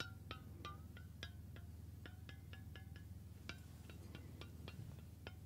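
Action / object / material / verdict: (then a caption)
tap / stainless steel water bottle / stainless steel / none. Fingertips tap the body and flat metal base of a hollow stainless steel water bottle held near the ear. They make quiet, irregular, bright metallic pings with a short ringing tone around 1.4 kHz that fades quickly. The taps sit over a steady low hum.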